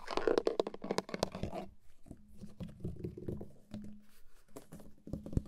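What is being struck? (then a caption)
Plastic steering wheel airbag cover. Fingertips and nails scratch and tap the hard plastic airbag cover in the center of a car steering wheel, a hollow molded shell. Dense crackling scratches in the first second and a half give way to quieter, scattered taps and rubs over a low steady hum, with sharp dry clicks near the end.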